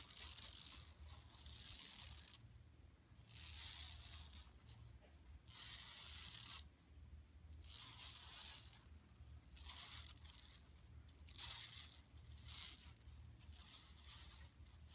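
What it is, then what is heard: Woven plastic mesh bag being scratched. Long nails scratch across the center of a flat, empty yellow woven plastic mesh tote bag lying on carpet, one hand sweeping back and forth over the mesh. Bright, raspy scratching bursts come in repeated sweeps with short quiet gaps between them, over a faint low hum.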